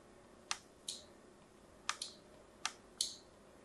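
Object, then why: Bar of soap. A small blade cuts lines into the surface of a solid white embossed bar of soap held upright. Seven short, crisp, bright scraping clicks sound at uneven intervals over a faint hiss, each fading almost at once.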